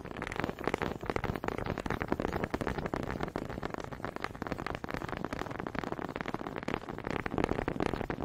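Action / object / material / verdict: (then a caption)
tap / two small wooden honey dippers knocked together / wood / none. Two small solid wooden honey dippers are tapped against each other close to the microphone, their grooved heads knocking together. The result is a quick, uneven stream of dry wooden clicks and knocks that die away instantly with no ring, sitting mostly in the low and middle range with little brightness.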